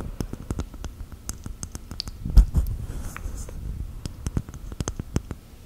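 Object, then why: Whole coconut in its fibrous shell. Long gel nails tap and scratch a whole, hand-sized brown hairy coconut with a hard fibrous shell. The result is a quick series of short, dry clicking taps over a low, hollow thud, mixed with soft scratching. A slightly louder knock lands partway through.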